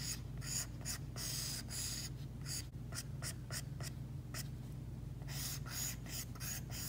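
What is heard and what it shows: An Apple Pencil's hard plastic tip strokes and rubs across an iPad glass screen fitted with a matte screen protector. Repeated bright, scratchy strokes rise and fall over a steady low hum.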